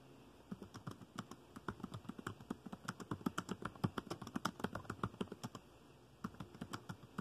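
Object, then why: Plastic laptop keyboard keys. Fingertips tap dark plastic laptop keys in continuous typing, producing a rapid run of short, dry clicks with a soft low thud under each tap and a faint bright tick on top. The keystrokes come in quick bursts with uneven spacing and a brief pause near the end before typing resumes; each click dies away almost instantly.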